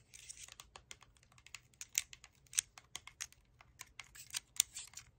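Long pink nails tap and scratch the bottom and plastic cap of a hollow Chi Forest plastic sparkling water bottle that is partly full of liquid. About sixteen sharp, bright clicks and short scratchy bursts come at an uneven pace, with almost no low end. Each sound is dry and dies away at once.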